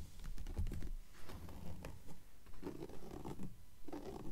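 Long nails scratch and tap across the printed paper pages of an open, thick blue book lying on a table. Soft, dry scratching strokes mix with muffled taps in an uneven rhythm, quiet and low-heavy, with each sound dying away almost at once.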